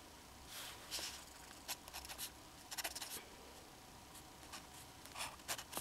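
A black fountain pen held in the fingers scratches hatching strokes onto the central figure of a flat sheet of drawing paper, its metal nib staying on the paper throughout. Quiet, bright, dry scratches come in short bursts and quick clusters over a faint steady hiss, each stroke stopping almost instantly with no ring.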